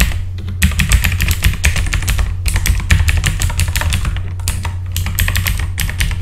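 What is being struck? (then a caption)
Mechanical computer keyboard with plastic keycaps. Fingertips of both hands type rapidly on a full-size backlit mechanical computer keyboard with plastic keycaps, producing a fast, continuous stream of bright, crisp key clicks. A steady low hum sits underneath the clicking throughout.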